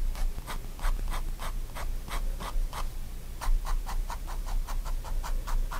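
A fine-tip pigment liner pen makes short strokes and hatching across a spiral-bound white paper sketchbook lying flat on a wooden desk, while the other hand holds the page still. Quick, rhythmic dry scratches repeat steadily, each a brief bright rasp over a low, steady background rumble.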